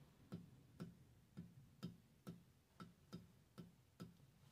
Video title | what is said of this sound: Surface Scraping: Grinding Fixture | sounds solid I don't hear any any ringing